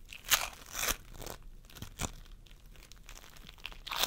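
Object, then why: Floam foam with polystyrene beads. Fingertips of both hands press and squish a pastel mound of floam sculpting foam made of polystyrene beads on a wooden table. The result is bright, crunchy crackling, with louder bursts early on and again near the two-second mark. Between and after them comes a steady, softer beaded crackle.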